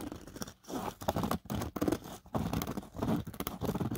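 Fingertips and nails scratch and rub across the fine black nylon mesh pocket inside an open drone carry case, with a paper card behind it. Dry, close scratchy rustling comes in uneven bursts separated by brief near-silent pauses, sitting mostly in the low and middle range with little bright content.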